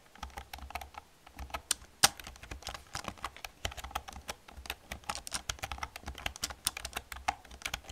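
A black plastic computer keyboard with hollow plastic keys is typed on with long painted nails and fingertips. It produces a steady stream of quick, bright clicks and clacks with almost no ring, plus one louder, sharper clack about two seconds in.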